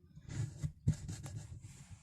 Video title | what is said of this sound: #How to fix a Twin Tub Washing Machine Spin Dryer noisy squeaking sound - zero cost, at home | Listen to this metal tapping sound.